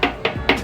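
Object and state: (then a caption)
Steel scooter body panel, not fiberglass. Three knocks on the custom matte steel body of a Vespa scooter, the monocoque body being all steel apart from the headset and fender, to check whether it is tin or fiberglass. Each knock gives a short, hollow metallic tap with a low ring that fades quickly. The panel proves to be steel, not fiberglass.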